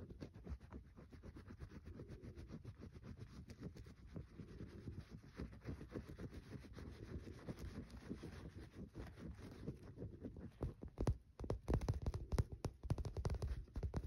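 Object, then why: Soap bar. Fingernails scratch a solid green bar of soap with a scratched, crumbly surface, knocking soap shavings loose. A steady, soft stream of dry, low-pitched scraping and crackling runs throughout, growing louder and choppier in the last few seconds.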